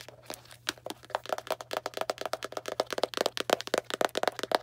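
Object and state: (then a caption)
Cardboard box tapped and scratched with nails. Long black nails rapidly tap and scratch a small Arm & Hammer cardboard baking soda box, producing a quick run of dry, crackling clicks and crinkly scrapes that ring around 640 Hz with bright edges. The hits grow louder and denser toward the end, over a faint steady low hum.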